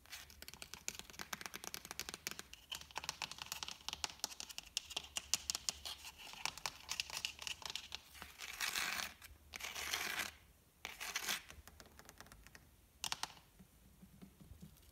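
Fingertips and short dark-painted nails tap and scratch around the outer wall and rim of a medium red plastic flower pot with a saucer, filled with soil and a leafy plant and standing on a tiled floor. Quiet, rapid, bright clicking taps fill the first half. Several longer rasping scratch strokes follow near the end, with little low-end body.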